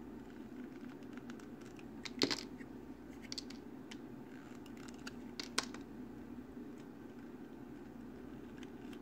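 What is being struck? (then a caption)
Bar of soap cut with a metal blade. A hand-sized solid green bar soap, scored into a grid of small squares and held in one hand, is sliced and scraped across its surface with the metal blade of an orange box cutter. Small cubes crackle off and fall onto the table. Soft, irregular scratchy crackles sit over a steady low hum, with a couple of sharper, brighter snaps standing out.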